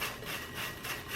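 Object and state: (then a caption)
Crisp, dry baked croutons. Homemade croutons made from seasoned bread, baked and cooled until dry, are jostled together, giving a dry, crisp, crunchy rustling. They are crispy and crunchy, ready for salad.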